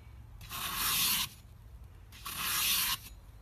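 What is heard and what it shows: A metal pie server is pushed by hand through a hand-held brick of solid green floral foam, slicing off flat slabs. Two bright, hissing scrapes are heard, each lasting under a second, with a quiet pause between them.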